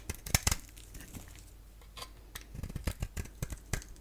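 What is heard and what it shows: A solid oval bar of soap with a yellow core, held in the hand, is shaved with a box-cutter blade, and flakes fall away. A series of short, crisp scraping cuts and crackles come in quick bursts with bright edges. Quieter gaps separate the bursts.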